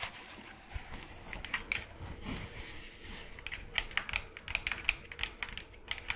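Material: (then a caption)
Plastic. A small, hollow, cream-colored plastic skull decoration is tapped with long claw-tipped gloved nails. The result is a series of quick, light, clicky taps with a bright, high ring around 2.5 kHz that fades almost instantly. The taps come sparse at first, then in denser bursts.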